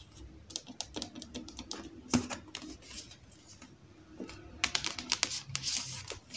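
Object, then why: Paperback book with glossy card cover. Long acrylic nails tap and scratch the glossy card front cover of a thick, solid Star Wars Alphabet Squadron paperback held upright, then move to the back cover. The result is a run of crisp, bright, dry clicking taps with no ring, mixed with soft scratchy rasps between them.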